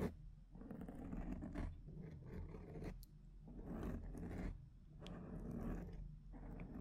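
Long painted nails scratch the side of a large rounded black foam windscreen on a microphone, mostly with one hand. The result is a series of muffled, rumbling scratching bursts, heavy in the low end, separated by brief quieter pauses.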